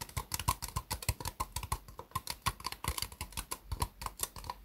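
Long fingernails tap rapidly on the sides of an empty, small, hollow, white ribbed disposable plastic cup resting upside down on a mousepad. About thirty quick, dry, hollow clicks follow one another, each with a faint ringing tone near 1 kHz and almost no decay.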